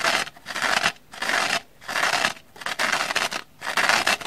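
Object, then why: Kitchen sponge scouring pad. Long manicured nails repeatedly scratch the black abrasive scouring side of a dry kitchen sponge with an orange foam base, held in the hand, while an identical sponge lies untouched on a wooden table. The sound is a bright, dry, bristly scratching in bursts with short pauses between them, mostly midrange and high with almost no low end.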